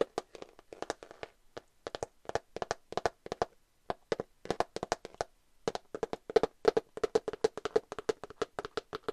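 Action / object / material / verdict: tap / cardboard eyeshadow palette / cardboard / none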